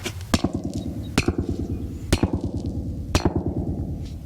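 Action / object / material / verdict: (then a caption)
tap / buried PVC drain pipe, open end / PVC plastic / none. The roughly cut, chewed-off open end of a buried PVC drain pipe, with its cap taken off, is tapped in an uneven run of quick strokes. Each tap gives a short, hollow, resonant knock with a low tone around 220 Hz that dies away almost at once. Every so often a sharper, brighter tap stands out.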